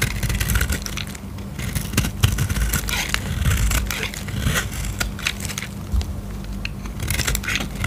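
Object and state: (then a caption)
Dry soap bar being scraped. A metal utility-knife blade scrapes and slices curls off the edge of a solid oval blue dry soap bar held in the fingers, with the shavings crumbling away. Dense, dry crackling and crunchy scraping run throughout, with bright crisp snaps over a steady low rumble.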